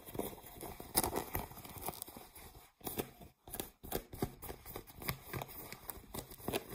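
Fingernails scratch blue ripped cotton denim jeans lying on a table, working over the fabric and the seams near the waistband. Quick, dry, rasping strokes come in a steady run, with two brief silent gaps partway through before the scratching resumes.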